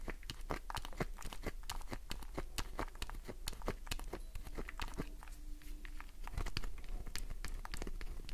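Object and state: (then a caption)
Glycerin soap bar scratched with nails. Long nails scratch across a solid green glycerin soap bar. The result is a quick, steady stream of crisp, dry scratches and clicks that stop sharply, over a low constant hum.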